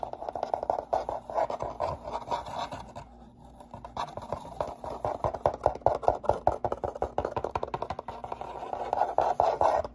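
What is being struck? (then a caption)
Corrugated cardboard box. Fingertips and nails scratch the inner bottom and walls of an open, empty brown corrugated shipping box with its flaps up. The result is a dense run of quick, dry scratches with a hollow midrange tone, briefly easing off around the third second before picking back up.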